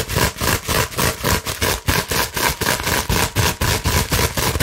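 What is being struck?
Plastic bubble wrap sheet.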